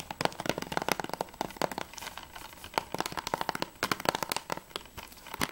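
A plastic Assassin's Creed III PS3 game case, held upright with its back cover facing out, is tapped quickly with fingertips and nails on its plastic sleeve. The result is a rapid, uneven stream of sharp, dry clicks with a crinkly, crackling edge and bright transients, little low end, and almost no ring after each tap.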